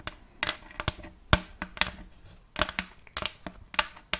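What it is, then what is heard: Thin wooden plate. Long colored fake nails scratch and tap a round, thin, empty plate of checkered light wood held close to the mic. Fourteen short, dry, clicky taps ring out bright against a soft scratchy rustle, each dying away almost at once.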